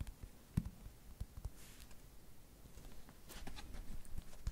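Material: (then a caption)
Paper. Long nails tap and scratch the paper cover of a paperback book held upright. Soft, dry, low taps with almost no ring are scattered through the clip, broken by brief, brighter scratching swipes. The overall sound is quiet and close.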